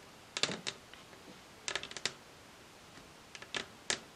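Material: Wood.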